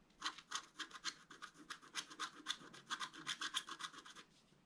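A wooden stylus scratches across a thin, flat, black wax-coated scratch-art card in quick, uneven back-and-forth strokes, roughly two dozen over the clip. Each stroke makes a dry, bright, raspy scrape with almost no low end, fading almost immediately.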